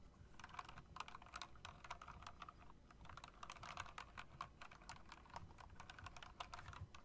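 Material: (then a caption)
Plastic. Fingertips and long nails tap quickly on the round typewriter-style keycaps of a backlit plastic and metal mechanical keyboard. A steady run of short, crisp clicks centers around 1 kHz, with bright edges and almost no ring, over a low background rumble.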